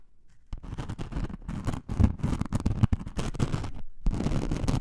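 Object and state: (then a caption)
Glitter foam craft sheet. Long nails scratch the gritty surface of a thin, flexible, blue-pink glitter foam craft sheet, about A4 size, lying on fur. After a quiet half second, dense, raspy scratching strokes run continuously, with brief pauses near 1.8 and 3.9 seconds. The sound is low and muffled, with little brightness and a dry finish that doesn't ring.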